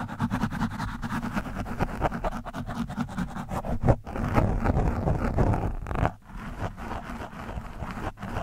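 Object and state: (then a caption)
Foam microphone windscreen being scratched. A hand-held screwdriver tip is dug into and scratched across an orange foam microphone windscreen. This produces a dense, continuous, irregular scraping and crackling with a heavy, muffled low-end rumble and little brightness. Brief quiet gaps break it up near 4 and 6 seconds.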